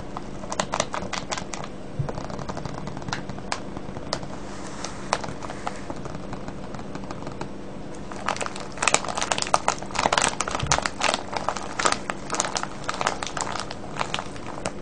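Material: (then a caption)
Plastic film. Hands grab and vigorously crinkle a full, clear plastic cellophane bag of wrapped candies, producing a dense stream of sharp, bright crackles over a steady low hum. The crinkling grows louder and busier from about the 8-second mark to the end.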